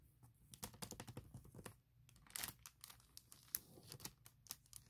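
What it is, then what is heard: Plastic packaging bag. A fingertip and long nails tap and trace over the printed text on a large clear printed plastic bag holding a laptop case. A fast run of sharp, bright clicks and taps comes with soft crinkling and a brief scratchy rustle in the middle, all quiet and close.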